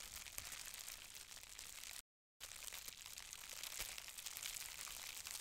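A folded sheet of green-tinted plastic bubble wrap with small, hollow air-filled bubbles is held flat in both hands and squeezed and crinkled by fingertips with long red-painted nails, possibly popping some bubbles. A dense, bright crinkling and crackling continues steadily, with sharper snaps scattered throughout. The sound drops out completely for a brief moment around the two-second mark.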